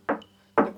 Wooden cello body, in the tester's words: If you tap it lightly with your finger and it makes a solid sound, there is no problem